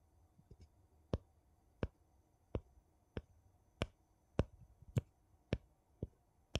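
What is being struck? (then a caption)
Metal screw lid on a small glass jar, tapped with a thin wooden piece. A thin, flat wooden piece held in the fingertips scratches and taps the rim of a gold metal screw lid on a small, empty glass jar held sideways. Ten short, sharp clicks ring out at uneven intervals, each bright and dying almost instantly. Faint, softer scratching sounds fill the gaps between them.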